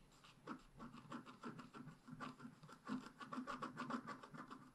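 A wooden stick scratches short strokes into the black coating of a scratch-art paper page held flat by hand. The result is a quick, uneven run of dry, rasping scrapes with a low-mid body and a faint bright edge, each stroke stopping short with no ring.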